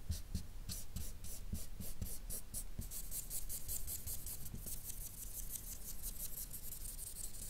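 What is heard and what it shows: A felt-tip marker's nib scrubs quick, dense shading strokes across a flat sheet of white paper. Each stroke makes a soft, bright, scratchy swish, repeating rapidly and steadily over a constant low hum. The strokes run together into a continuous rhythmic rasp.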